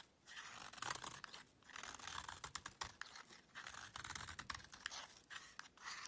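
A small metal knife blade scrapes and carves a solid, palm-sized, rectangular beige soap bar held in one hand, with the shavings piling up on a black surface. The sound is a quiet, dry, crisp scratching that comes in repeated bursts of bright, crackly scraping, separated by short pauses.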